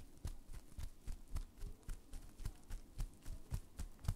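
Hands wrapped in clear plastic bubble wrap are held near the mic, and the fingers squeeze and pop the bubbles. Thirteen short, burst-like pops with a deep thump and a bright crack come at an uneven pace of roughly two per second. Each one dies away almost at once over a faint crinkling.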